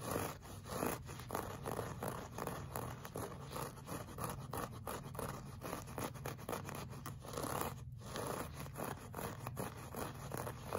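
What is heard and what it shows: Short fingernails of one hand scratch a solid, flat beige looped-pile woven rug in a clawing motion. This makes a steady run of rapid, dry, scratchy scraping strokes with a soft low hum underneath.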